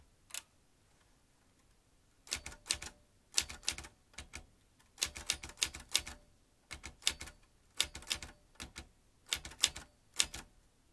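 An old manual metal typewriter with metal typebars and round keys is typed with the fingertips, so each key drives a typebar into the mechanism. After a single early keystroke and a pause, sharp, bright clacks come in quick bursts. Each one is short and dry and dies almost at once.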